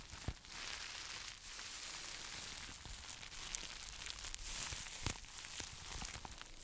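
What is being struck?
Plastic bubble wrap mailer.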